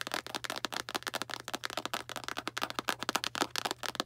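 A small Arm & Hammer cardboard baking soda box, held upright, is tapped quickly on its front with long black nails. About two dozen dry, bright clicks come in a rapid, uneven flurry, each cut off at once with no ring, over a faint steady low hum.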